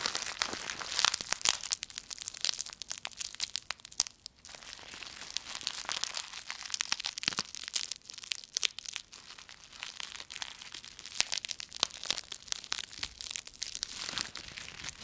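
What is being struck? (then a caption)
Bundle of autumn leaves with stems. A bundle of dry autumn leaves with stems is crushed and wrung in both fists. The result is a dense, bright, continuous crackling and crunching. The crinkles are sharp, with brief louder bursts and no low end.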